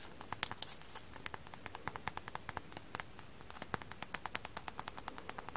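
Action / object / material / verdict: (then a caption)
tap / frozen sponge coated in floral foam dust / frozen foam / none. Fingers tap a frozen floral foam sponge coated in foam dust. A steady, dense run of light, crisp taps gives short dry clicks with bright high-pitched edges and no ring, over a faint low background hiss.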